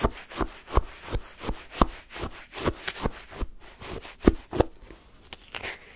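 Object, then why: Shaved-ice sherbet in a paper cup, scraped with a wooden stick. A wooden stick stabs down into pale yellow shaved-ice sherbet in a paper cup and scrapes up the crushed ice. It makes a steady series of short, crunchy scraping strokes with a gritty, bright texture over a low thud at each stab.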